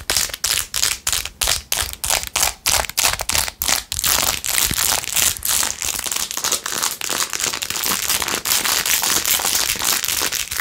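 Long nails scratch quickly over the rhinestones of a blue-jeweled glitter plastic phone case with a ring holder. Crisp, bright scratching strokes come in separate bursts at first, then blur into a denser, nearly continuous crinkly rasp with almost no low end.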